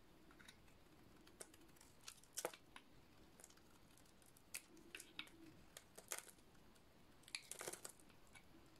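A metal utility-knife blade shaves a dry, rectangular, hand-sized solid white soap bar with a black dot-painted coating. Quiet, crisp scraping cuts and brittle crunches come in short, bright bursts over a faint steady hiss. A few longer, louder shaving strokes stand out among the lighter clicks.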